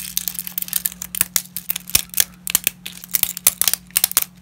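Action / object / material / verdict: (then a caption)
scrape / dry wheat lasagna sheets / dry pasta / none. Black-gloved fingers snap, crumble and rummage through a pile of broken dry wheat lasagna sheets, which are solid and brittle. A rapid, irregular series of sharp, bright, dry cracks and crinkles comes with very short decay, and the glove may be faintly heard rubbing. A faint steady low hum runs underneath.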